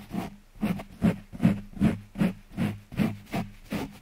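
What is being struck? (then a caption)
Foam microphone windscreen scratched by a rubber-coated glove. A hand in a rubber-coated work glove, dark on the palm and neon yellow on the back, scratches and rubs the soft, porous black foam windscreen on a large condenser microphone with its fingertips. The result is a steady, rhythmic series of short, muffled scratching strokes, heavy in low, boomy rumble with a faint brushy hiss on top.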